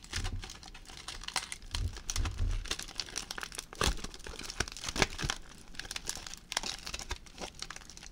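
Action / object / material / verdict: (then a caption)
scrape / crumpled aluminium foil ball / aluminium foil / none. A crumpled aluminium foil ball, held close, is crinkled with the fingertips, giving dense, bright crackling and rustling over about eight seconds. Soft low thumps come through near the start, and sharper crackles burst out around the four- and five-second marks.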